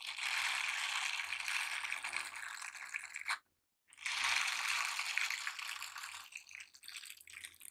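Silicone scrubber gloves are worn on both hands, with the gloved fingers rubbing across the bristled palm and then the hands squeezing together. It makes a dense, bright, rapid rasping scrub in two long bursts, split by a brief silence. The rasping carries a faint low hum underneath and thins toward the end.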